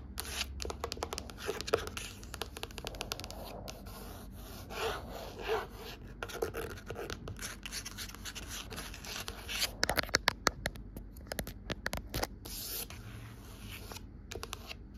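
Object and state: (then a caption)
Cloth-covered hardcover book. Long pointed nails scratch and tap the navy blue fabric-bound cover of a large, solid, closed hardcover book lying flat on a white table. Quiet, dry scratching and rubbing runs throughout, broken by quick, sharp taps that stop dead with no ring. A few louder taps land around the ten-second mark.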